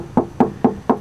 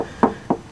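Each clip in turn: First: car body sheet metal panel. Second: solid fiberglass patch on car body.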